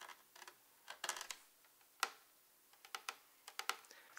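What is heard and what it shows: Long red-painted nails tap the flat, glossy face of a hollow black plastic Wii U console held upright in both hands. The result is quick, bright, dry clicks that die away almost instantly, falling in irregular clusters with short pauses between them.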